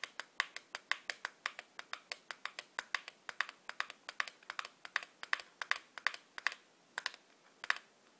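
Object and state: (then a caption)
Cardboard matchbox. Long black-polished nails tap rapidly on the top and face of a small, hollow, printed cardboard matchbox held in one hand. About 44 sharp, dry clicks ring out in a quick, uneven patter, each one bright with a faint hollow tone near 1.7 kHz and dying away almost instantly.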